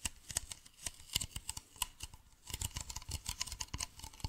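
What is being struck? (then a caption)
Plastic bottle. A hollow, medium white plastic bottle with a blue cap is held near the face and tapped with fingernails. A quick, uneven run of sharp, bright clicks follows, each dying away almost instantly, with soft hollow thumps underneath. The taps grow busier and denser in the second half.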